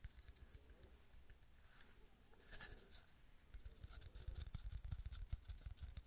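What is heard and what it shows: Long nails tap, flutter and scratch across the cut surface and the back of a hand-sized, round, flat wooden tree slice coaster made of solid wood with a bark rim. The result is soft, dull, low tapping with a faint bright scratchy edge, at first quiet and sparse, then growing denser and louder in quick irregular patters toward the end.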